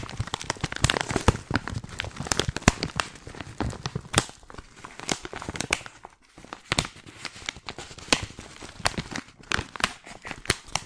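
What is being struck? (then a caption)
Filled plastic tea pouch. A hand-sized, filled, white printed plastic tea pouch is crinkled and scratched with long nails. Dense, dry crinkling and sharp crackles sound in quick, uneven bursts across bright and low tones, easing briefly before picking up again.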